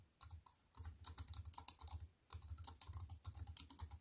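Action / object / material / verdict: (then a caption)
tap / plastic computer keyboard with metal frame / plastic / none. A compact wireless plastic computer keyboard with black plastic keys on a silver metal-look aluminium frame, resting on a wooden table, is typed on with fingertips and long white-painted nails. Rapid, crisp key clicks come in quick bursts, each with a bright, short clatter over a soft low thump, separated by brief pauses near the start and midway.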